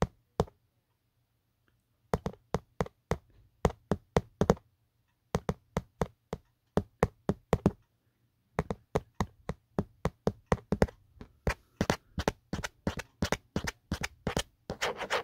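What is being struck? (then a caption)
Hard plastic phone case. A fingertip taps and knocks on the textured hard plastic back of an empty, hollow black Otterbox phone case. Short, dry, hollow knocks come in quick bursts separated by brief pauses, then run faster and denser toward the end. A faint steady low hum sits underneath.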